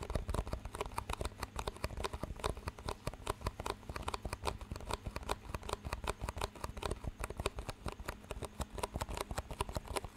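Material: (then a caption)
Plastic. Two identical clear, empty, disposable plastic cups with green rims, held one in each hand close to the mic, are tapped and squeezed with the fingertips, and their rims are knocked together. The result is a dense, steady stream of quick, dry plastic clicks and taps with short crinkly squeezes, over a low steady hum throughout.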